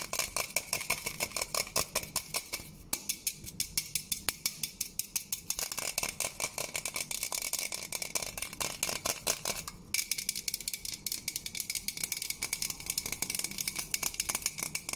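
Long gold-painted nails fast-tap and scratch along the printed label side of a Black Silhouette metal aerosol hairspray can, a hollow, pressurized can held in the hands. The result is a dense run of rapid, crisp, bright clicks with very short ring over a steady scratchy hiss, centered near 2.4 kHz with almost no low end.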